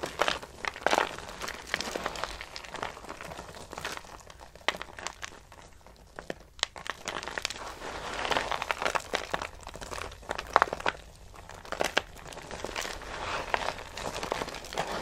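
Handfuls of brittle, pale green dry soap shavings are squeezed and crushed with palms and long-nailed fingers. Continuous dry crinkling and crunching fills the clip, with dense clusters of sharp, bright crackles rising and falling in waves.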